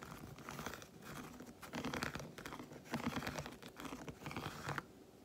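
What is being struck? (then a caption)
Milk chocolate bar. Long white fingernails tap rapidly on the squares of an unwrapped solid milk chocolate bar, heard up close. Dense, uneven bursts of quick dry clicks and scratchy patter rise and fall in clusters, then stop abruptly near the end, leaving only faint background.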